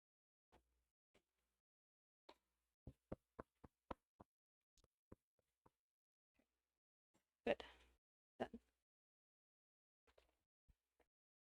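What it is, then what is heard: Hollow-sounding, fully baked sourdough loaf. Knocking on the bottom of a freshly baked sourdough loaf produces a series of short, dry taps with a hollow ring, then a louder, rougher scrape-like burst near the middle. The hollow sound shows the bread is baked through, and the bottom is not too dark.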